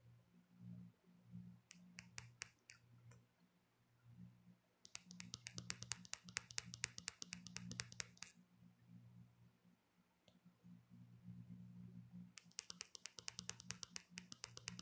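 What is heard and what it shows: Long nails make quick, bright taps on the back of a smartphone in a dark hard black plastic case, the same phone that is recording. The clicks come in rapid bursts of short, sharp ticks with almost no ring. A steady low hum sits underneath.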